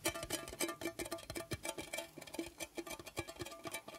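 Fingers tap rapidly on a metal Kusmi Tea Kashmir Tchai tin with some tea left inside, making a quick run of light, hollow metallic tinks. Each tap rings briefly at a steady mid pitch with a bright edge before fading almost at once.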